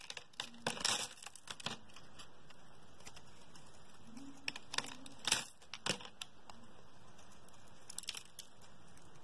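A metal blade scrapes thin curls off the surface of a solid, translucent, palm-sized pink oval soap bar held in the hand. Short, crisp, crinkly scraping bursts with a bright edge come in irregular clusters over a faint, steady background hiss.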